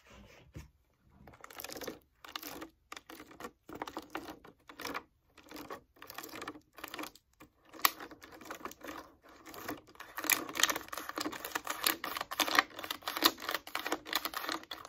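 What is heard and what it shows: Long acrylic fake nails tap and scratch a small clear plastic Poland Spring water bottle, hollow and full of water, held in the hand. Quick, irregular bursts of dry clicking and bright scratchy rasping come in short clusters with brief gaps, with no low end. The activity grows louder and denser over the last several seconds.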